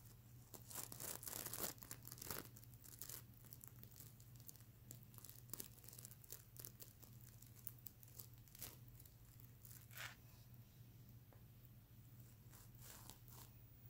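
Fingertips and long nails scratch across the plastic sequins of a sequin-covered stuffed mermaid unicorn pillow, making dense, bright, crinkly rasps and ticks. The scratching is loudest in bursts during the first few seconds, then continues more softly and irregularly over a steady low hum.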